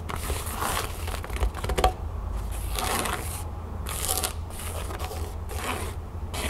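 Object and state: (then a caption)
Canvas pouch. Long fingernails scratch and tap a flat, empty cream canvas pouch lying on a table. Bursts of bright, dry scratching rustle come and go over a steady low hum, with a few sharper taps standing out partway through.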